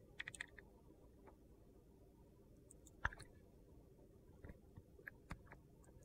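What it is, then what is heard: Glitter-coated soap bar being shaved. A metal utility knife blade scrapes and cuts curls off the dark green glitter coating of a solid orange, hand-sized soap bar held in a hand. Quiet, scattered crisp clicks and short scraping ticks, some with bright edges, sound over a low, steady background hush, with the sharpest snap near the middle.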